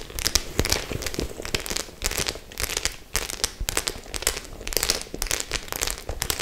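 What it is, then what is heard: Studded faux leather clutch bag. Long nails tap and scratch across the metal-studded face of a white faux leather clutch bag. Rapid, bright clicks and crinkly scraping run continuously in dense, uneven bursts with almost no ring after each tap.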